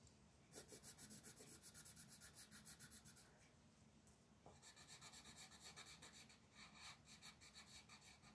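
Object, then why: Wooden colored pencil on paper sheet. A hand with long purple nails rubs a green wooden colored pencil rapidly back and forth across a flat white paper mandala coloring page on a table. The quiet, bright, rasping strokes run in a steady rhythm, ease off briefly around the middle, then pick up again with the same scratchy coloring sound.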